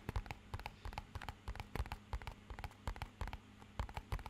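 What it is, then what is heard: Cardboard box. Short fingernails and fingertips tap a small, rigid, hollow, matte-black rectangular cardboard box with lighter grey edges, held in both hands in front of the mic. About nineteen quick, dry taps come in uneven bursts, each a low hollow thump with a brief bright click that dies away almost at once. A faint steady low hum sits underneath.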